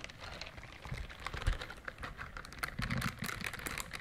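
A pink silicone bristled scrubber glove is held close to the microphones and scratched along its bristles with long nails. The result is a soft, rapid stream of crisp, dry clicks and scratches, bright on top with low thumps underneath, much like quick typing.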